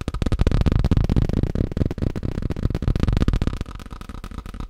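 Fast tapping on a plastic tablecloth produces a dense stream of quick, dull, low-pitched taps with almost no ring. The tapping continues steadily throughout and becomes slightly quieter toward the end.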